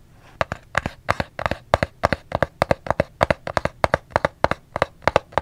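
Fingers tap on a soap's cardboard box in a steady, rapid rhythm of short, dry knocks. Each tap is a crisp, hollow click centered around 540 Hz with a bright edge and almost no ring. The taps come in quick clusters over a faint low background hum.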